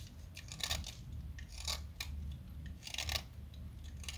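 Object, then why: Blackboard chalk stick. A small, solid light-blue blackboard chalk stick, held in fingers with long nails, is shaved and carved with a small metal blade cutter held in the other hand. Bright, dry scraping and crunching bursts come in short strokes over a steady low hum, with a quieter stretch between.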